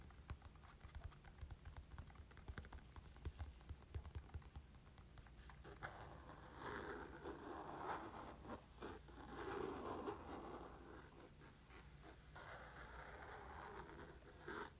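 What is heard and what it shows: Fingertips and nails tap and scratch a black textured Nintendo Switch carrying case with pink trim, a hollow molded EVA hard shell. Quick, irregular dull taps over a low hum give way after about six seconds to steadier, brighter scratching and rubbing across the shell's surface.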